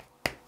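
Two quick taps on a plastic part of an OM System 150-600mm telephoto lens barrel, one of several plastic parts on the lens, unlike its metal collar. Each tap is a short, bright, dry click centered around 2 kHz with almost no low end, and it dies away almost instantly.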